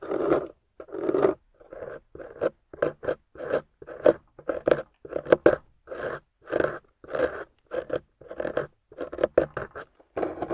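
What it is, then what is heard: Water-soaked clay bar being carved. A small metal loop carving tool scrapes repeatedly across a solid, water-soaked beige clay bar painted gold. Each stroke is a short, soft, mid-toned rasping scrape that stops almost at once, with brief silences between strokes, in a steady rhythm of strokes.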